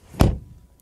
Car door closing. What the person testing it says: door closing sound mmm that sounds solid